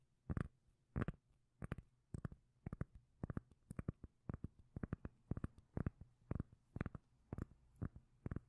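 A solid, palm-sized round cork lid is held in one hand while the long nails of the other hand tap and scratch its surface. The result is a steady series of quiet, dull, bass-heavy knocks, often in quick pairs, each with a brief bright click that dies away almost instantly.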